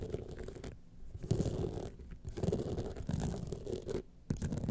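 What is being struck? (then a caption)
Rhinestone-studded clutch wallet. Long painted nails from both hands scratch across a small, rigid gold clutch wallet covered in a grid of rhinestones, standing upright. The result is a steady, low, rough rasping and clicking texture that drops out briefly in a few short pauses before resuming.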